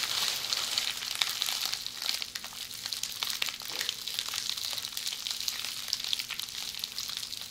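Tightly rolled red plastic bubble wrap held in both hands is squeezed and scratched by long polished fingernails. It gives a dense, bright crackle of tiny crinkling clicks and scratches that runs continuously at a steady level, with a faint low hum underneath.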